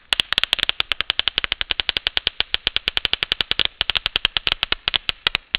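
A large, thin, sheer beige synthetic Swiss lace mesh sheet is held up by the fingertips of one hand in front of the face and shaken and rustled. It gives a rapid, steady run of about 46 sharp, dry crackles, each very short and bright, centered around 3.2 kHz with almost no low end.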